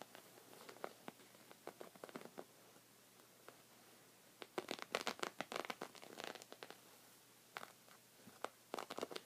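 Short red fingernails scratch a thick, cream, textured woven knit rug of soft fabric. Quick, dry, bright scratching strokes come in irregular bursts with quiet pauses between them, the busiest cluster near the middle. Each stroke cuts off almost at once with no ring.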